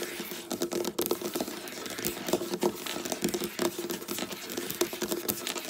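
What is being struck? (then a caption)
Wooden tabletop. Long black nail tips tap and scratch quickly with both hands across a flat, solid, dark wooden tabletop. Rapid, dry clicks blur together with scratchy rasping, a faint steady tone near 360 Hz sits underneath, and there is almost no bass. Each hit dies away almost at once, keeping the sound crisp and bright.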